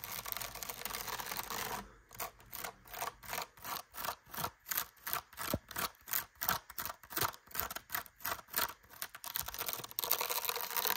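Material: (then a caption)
Sisal rope. Long nails scratch the cream woven sisal rope wrapped around a solid cat tree post, with a pompom toy hanging nearby. A steady rough hiss gives way to a quick, fairly regular series of short, dry, bright scratching strokes, then returns to a continuous rasp at the end.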